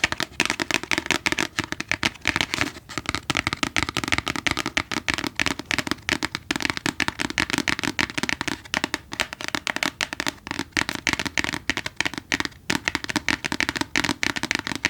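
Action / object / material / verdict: tap / book / paper / none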